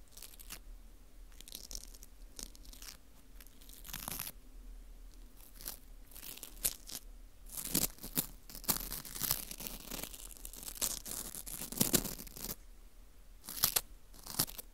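A teal plastic scraper scrapes around the hollow center hole of a porous dried wheat gluten ring (fu). The result is a run of dry, crunchy scratching and crackling bursts with bright, crisp highs. The bursts come in uneven clusters over a quiet background.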